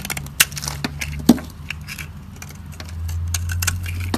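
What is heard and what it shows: A metal utility blade scrapes the edge of a solid, dry white soap bar held in the fingers, letting powdery shavings drop. Irregular dry, crisp scratches and sharp clicks ring out, with a steady low hum underneath.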